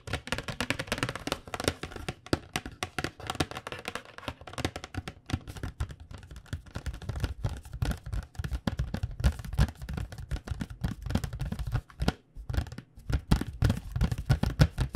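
Long nails tap rapidly and steadily on the front of a flat, printed cardboard box of paint pens held in both hands. The taps are dull, low, hollow thumps with almost no ring, coming in dense, uneven bursts with a brief pause near the twelve-second mark.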